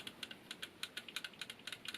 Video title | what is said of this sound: How the Starter System works in a motorcycle | You can just hear the two bits of metal tapping.